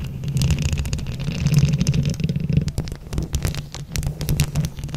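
Long acrylic nails on both hands scratch and tap over a round mesh microphone head covered in plastic flower buttons. The result is a dense, close, low rumbling scratch with a steady hum around 130 Hz, broken by many quick clicky taps that flash bright.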